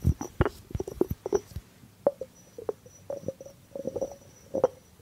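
A small hollow white ceramic jar with a blue rim and a cork lid is held while fingertips tap its cork top and body. The result is a quick series of soft, dull taps with very short ring, some with a low thud and others with a hollow mid-pitched knock, spaced irregularly over about five seconds.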